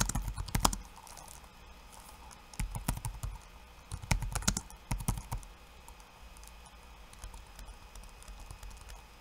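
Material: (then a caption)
Plastic. Bare fingertips type in rapid taps on a backlit laptop keyboard with plastic keycaps. Bursts of sharp, bright clicks come in three clusters over a steady low rumble, with quieter stretches in between.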